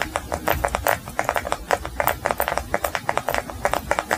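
A small solid yellow beeswax block, held in both hands, is tapped and scratched with fingernails on all sides. The result is a rapid run of short, dry clicking taps with scratchy texture, centered in the midrange with little low or high end and almost no ring after each tap.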